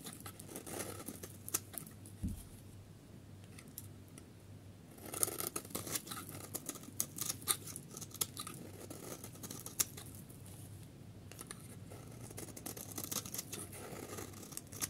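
A solid, pale yellow, dry soap bar is shaved with a utility knife blade, giving off crumbly shavings. Quiet, dry scraping and crisp, bright crackles and clicks come in uneven bursts over a steady low hum, with the busiest stretches in the middle and near the end.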